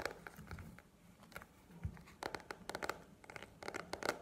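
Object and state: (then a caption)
Paperback book. A paperback book with a glossy paper cover, held upright, is tapped and scratched with long nails. It makes a quick series of soft, dry clicking taps with brief scratchy rubs between them. The taps come in uneven clusters that grow denser toward the end.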